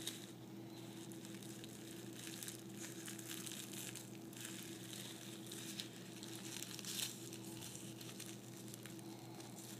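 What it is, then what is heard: Tissue paper crinkling. A small piece of white tissue paper is crumpled and squeezed in the hand, giving a soft, continuous crinkle of bright, dense crackles over a steady low hum. The rustling stays quiet and even, with a slightly louder burst of crinkling near the seven-second mark.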